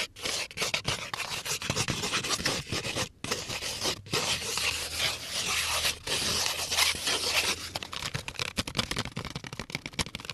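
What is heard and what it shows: A small, hollow, brown cardboard crayon box held in one hand is scratched and scraped with fingernails. The result is a dense, bright, rasping scratch with quick strokes and short gaps around three and four seconds, with little low end.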